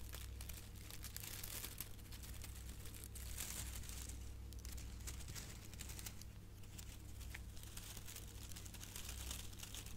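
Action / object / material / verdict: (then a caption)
scrape / metallic foil gift bow / metal foil / none. A silver metallic foil ribbon gift bow is scratched and crinkled by long nails and fingertips. Dense, bright crinkling and scratchy rustles continue throughout in uneven bursts over a steady low hum, at a fairly quiet, even level.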